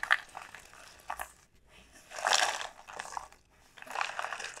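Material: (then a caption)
Dried gourd. Long painted nails tap and scratch the hard, hollow shell of a large, elongated dried gourd sold as a pumpkin, which lies on a felt mat. Bursts of dry, crinkly tapping and scratching come in clusters separated by short pauses. The sound is bright, with almost no low end and very little ring.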